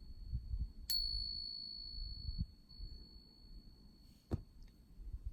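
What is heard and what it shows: A real silver Morgan dollar coin is struck in a ring test and gives a sharp click followed by a clear, high, sustained ring that lasts for seconds over a low background rumble. It is struck again near the end, and its bright, lasting ring marks it as genuine silver, distinctly different from the suspected fake.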